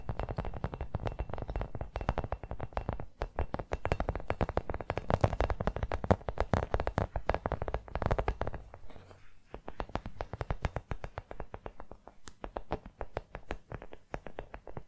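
Long nails rapidly tap and scratch a small, hollow brown rubber toy football, making a dense run of short, dull, low thuds with a faint bright scratching edge. Each hit dies away almost instantly. The tapping is thick and steady for about nine seconds, then thins into sparser, quieter taps.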